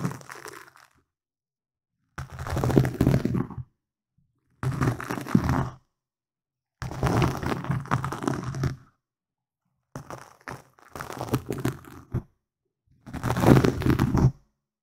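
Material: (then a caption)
Foam. Fingertips and nails scratch and rub a black foam windscreen on a microphone, producing dense crunchy, crackling rustles with a deep low rumble. The sound comes in short bursts of a second or two, separated by silent pauses.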